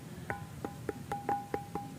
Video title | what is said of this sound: Misteri Gunung Padang, ada apakah di sana? | Ini makanya disebut batu gamelan karena ada bunyinya. Tuh, ada 4 nada ini.